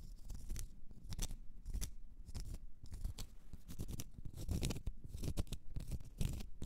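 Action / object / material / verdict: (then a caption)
scrape / small round cork stopper / cork / none. Long red nails scratch a small, solid, round cork stopper in quick, repeated strokes. The result is a dry, rough scratching with a low, muffled body and brief bright streaks on each stroke. The strokes die away almost instantly.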